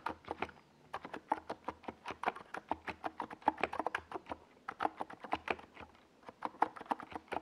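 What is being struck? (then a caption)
Plastic mechanical keyboard with plastic keycaps. Fingertips type continuously on a NiZ Plum Atom 68, a small 68-key mechanical keyboard with a white plastic case and purple and yellow plastic Domikey Gas Attack SA keycaps, resting on a desk pad. Dozens of short, crisp plastic clacks come in quick, irregular bursts, with mid-range thock and little deep bass. The taps die away instantly between brief pauses near the 1, 4.5 and 6 second marks.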